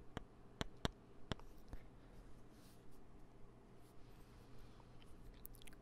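Two small green-and-white plastic poker chips, solid discs, are held in the fingertips right at the microphone and clicked and tapped against each other. A few sharp, dry clicks ring out in the first two seconds, each dying away almost instantly. Softer, faint taps and light rustling follow over a low, steady hum.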